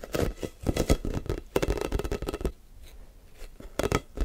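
A hand-sized, blue, hollow plastic air ball with a football pattern, held in both hands, is quickly gripped, squeezed and tapped with fingertips and short nails. Rapid, dull, hollow taps and scratchy rustles come in busy bursts, ease into a quieter stretch of soft scratching, then return with a few louder taps at the end.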